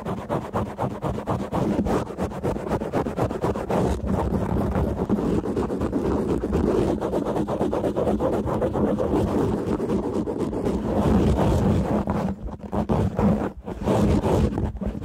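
Fingertips and nails of both hands scratch and rub fast and hard on a soft, rounded black open-cell foam windscreen covering a large microphone. This produces a dense, continuous, windy rumble of scraping with a heavy low end, a steady low tone near 207 Hz, and little high content. The scratching runs unbroken until two brief dips near the end.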